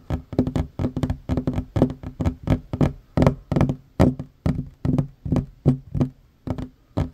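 Fingertips and short nails tap rapidly on a solid wooden tabletop, making quick, dull knocks with a low, woody body. The taps come in uneven clusters and bursts, each dying away almost instantly.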